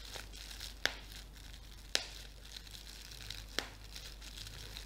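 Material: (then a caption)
Plastic. A clear, thin, flexible sheet of plastic bubble wrap with air-filled bubbles is held in both hands and crumpled and squeezed with fingertips and painted nails. A soft, steady, bright crinkling runs throughout, broken by three sharp, snappy pops that die away almost at once.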